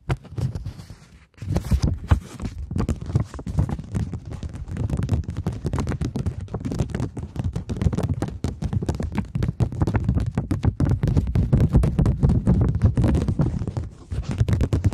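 A plastic polymer £20 banknote is held spread before the mic, snapped taut and tapped with long nails. The result is a dense, fast stream of short, dull, low-heavy taps and crinkles, with a brief pause near the start and little high-end sparkle.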